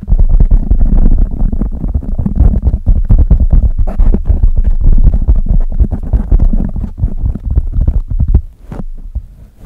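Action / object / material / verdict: scrape / foam microphone windscreen / foam / none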